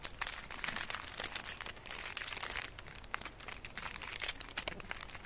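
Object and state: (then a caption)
Foil-wrapped chocolate bar. Fingertips rub, crinkle and pinch the edges of the crinkled gold foil wrapped around a solid rectangular chocolate bar. The result is a continuous stream of dense, bright crackling, with short sharp crinkles over a faint low rumble.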